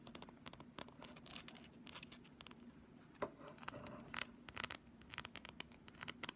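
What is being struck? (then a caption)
Thin flexible plastic ruler. Long fingernails scratch along the surface and edge of a thin, solid, pink flexible plastic ruler, about 30 cm long, held in both hands. Quiet, dry scratching comes in rapid, bright, rasping strokes, with sharper ticks and scrapes toward the end over a faint low hum.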